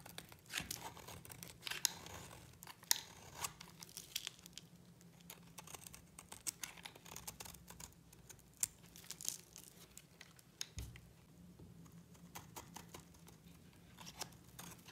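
A utility knife blade shaves curls off the surface of a solid pink dry soap bar held in the fingers. The result is a quiet run of crisp, dry scraping and crackling strokes, mostly bright and high in tone, coming at an uneven pace over a faint low hum.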